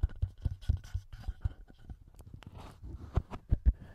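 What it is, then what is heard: Plastic handheld recorder with metal mic capsules. A small black plastic TASCAM handheld audio recorder with metal mic capsules is rapidly tapped and scratched on the capsules and top housing by fingertips and short nails. The result is close, dry, low thumps with brief bursts of brighter scratching in between and almost no ring.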